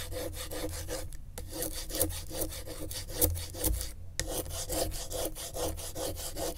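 A gloved hand traces lines with the tip of a pen across the corrugations of a flat piece of brown corrugated cardboard lying on griptape. The pen makes a steady stream of dry, ridged scratching strokes, each a quick burst of bright rasping clicks over a low rumble. Two brief pauses break the rhythm.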